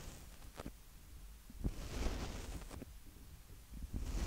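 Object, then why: Plastic handheld audio recorder. A Tascam DR-05X, a small black plastic handheld audio recorder with a hollow body, has both fingertips lightly tapping and rubbing its mic capsule heads. The result is quiet, low, muffled thumps and soft scratchy rustling, with a brighter swish of friction in the middle of the clip.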